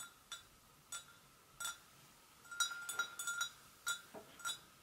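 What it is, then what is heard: Porcelain gravy boat, empty. Long nails gently tap the rim and sides of a hollow, empty white porcelain gravy boat. Each tap gives a short, bright clink with a clear ring near 1.4 kHz and high overtones, fading quickly. The taps come singly at first, then in a quicker cluster, then spaced out again.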